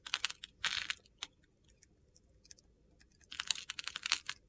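A utility-knife blade carves a hand-sized, solid mint-green soap bar into small crunchy cubes. Bursts of crisp, bright crunching and clicking come at the start and again near the end, with a quiet stretch of sparse small ticks in between.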